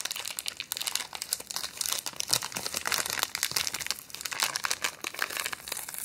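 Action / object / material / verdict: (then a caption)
scrape / thin clear plastic wrapper / plastic / none. A small, thin, empty clear plastic wrapper held in both hands is crinkled and rubbed between fingertips and long painted nails. Dense, bright, rapid crackling fills the clip with no low end.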